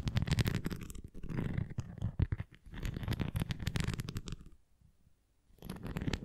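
Fingernails tap and scratch along the rim edge and nubbed top of a red plastic flying ring toy held flat, making dense, rapid clicks and scrapes with a low, rumbly body. The scratching comes in bursts, falls nearly silent for about a second near the end, then resumes.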